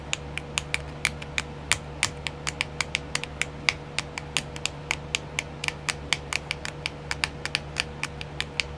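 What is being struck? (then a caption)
Small clear plastic compartment wheel. Long nails tap rapidly on a small, round, clear plastic nail art compartment wheel, mostly covered by a hand. There are about forty short, sharp, bright clicks with almost no ring, over a faint steady low hum.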